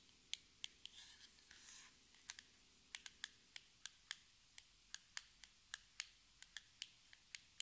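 Long red nails tap and scratch a small, hollow, metallic-pink cardboard cosmetic box standing on a table. About two dozen short, dry, bright taps sound, with a soft, hissy scratching stretch early on. Each tap dies away almost instantly.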